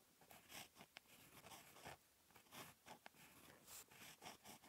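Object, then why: Ballpoint pen on a paper notebook page. A ballpoint pen tip, held in the fingertips, writes on a lined paper page of a spiral notebook lying flat and solid on a desk. Continuous, bright scratching strokes of handwriting come in short bursts, with four sharp ticks among them.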